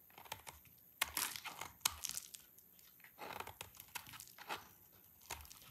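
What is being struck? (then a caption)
Soap bar. A pale yellow bar of dry soap is scraped with a utility knife blade, peeling off shavings. The result is a quiet run of dry, crisp scraping and crinkly tearing bursts, with bright hiss and almost no low end. The strokes come in uneven clusters rather than clearly separate hits.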